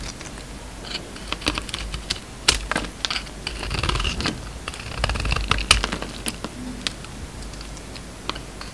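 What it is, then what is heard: Soap bar being shaved with a blade. A steel utility-knife blade shaves slices off a solid, hand-sized, oval blue embossed soap bar with a green core, held in the palm. A quick run of crisp, bright scraping clicks and soft crumbly shaves is heard over a low, steady hum, with a few sharper snaps standing out.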